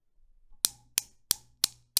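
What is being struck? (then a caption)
Newton's cradle with steel balls. A fingertip with a long blue nail pulls back and releases an end ball on a desk Newton's cradle, which has a mirrored black base, a chrome frame and five small solid polished steel balls hanging on strings. After a faint low rumble, five sharp, bright metallic clacks ring out at an even pace, each dying away almost at once.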